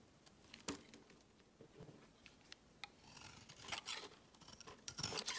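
A hand first touches a rounded, solid, opaque yellow soap bar resting on a mat, making soft, sparse taps and rubs. A utility knife blade then shaves it into curls, giving bright, crisp scraping and carving strokes that grow denser and louder toward the end.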